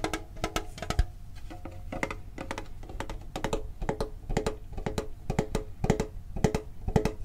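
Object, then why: Printed metal tin box. A medium-sized hollow printed metal Pokemon card tin is held and tapped on its sides and lid with the fingertips and short nails. The result is a quick, uneven run of crisp taps, each with a short, hollow metallic ring around 430 Hz and a bright clicky edge from the nails, fading almost instantly between strikes.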